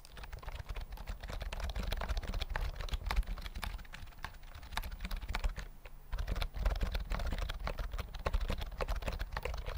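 Fingertips type on a full-size white plastic keyboard with round mint keys and a hollow body, held close to the mic. Quick, dry clicks and taps run steadily throughout, with a strong low thump under each keystroke and almost no ring. The typing dips briefly just before the six-second mark, then picks back up.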